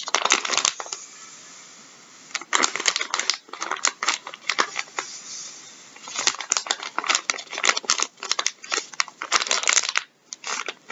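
Gloved fingertips scratch and crinkle a full, soft plastic packet of wet wipes resting on a wooden table. Bright, dry crinkling bursts come in rapid clusters, separated by brief quieter pauses with a faint hiss. There is no low-end body, and each crackle dies away almost instantly.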